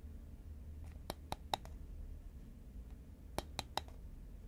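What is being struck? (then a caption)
Cylindrical paperboard chip can. Fingernails tap the side of a tall cylindrical cardboard Pringles can, a composite paperboard chip can held horizontally in both hands. Two groups of three quick, dry clicks sound with a hollow mid-pitched knock around 800 Hz and bright tips, dying away instantly. A low, steady hum sits underneath.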